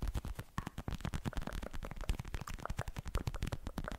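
Fingertips rapidly tap a hand-sized, filled pink plastic gel cushion pad with beads, held close to the microphone. The taps are soft, dull, low thuds with very short decay and little brightness, forming a steady, dense patter.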